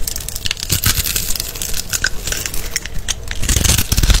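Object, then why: Bar of soap. A small green-handled blade scores and scrapes a solid, palm-sized, rectangular blue-and-white striped bar of soap held in the hand. The cuts make dense, crisp, bright scraping and crackling, with soft low thumps as the cut soap cubes crumble off onto a pile of soap shavings.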